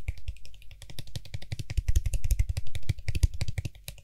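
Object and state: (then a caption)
Plastic lid of an aerosol spray can. Fingertips tap quickly on the top and sides of the white hollow plastic cap of a Lysol aerosol spray can. The result is a rapid, irregular stream of short, dry clicks with almost no ring, with a deep thumpy body and bright tick edges.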